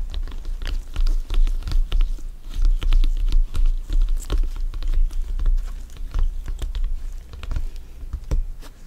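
Fingers in black gloves tap and grip a full-size, inflated, hollow soccer ball with stitched synthetic leather panels. The result is a quick, irregular patter of soft, dull thumps with a deep, hollow low end, each tap dying away almost at once, mixed with faint scratchy rubbing from the gloves on the panels.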